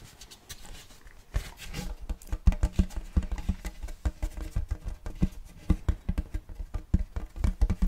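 A large round checkered wooden serving platter is tilted and turned in the hands while fingertips tap and scratch its face and rim. Many soft, dull, low taps come in quick irregular bursts, mixed with light scratching, each tap dying away almost at once.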